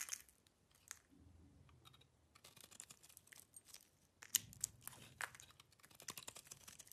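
A solid cream bar of soap with black rind remnants, held in the hand, is scraped with a metal knife blade, peeling off curls of soap. It sounds like quiet, dry, crisp scraping and crunchy crackles, almost all bright high-end with little low tone, broken by a few sharper, louder scrapes that stop instantly.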